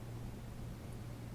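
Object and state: Nothing is struck.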